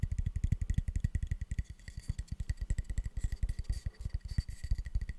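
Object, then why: Softwood plank. A light softwood plank is tapped in a rapid, uneven run of dozens of quick taps. Each tap is a short, dull, low thud that dies away almost at once, with no ring.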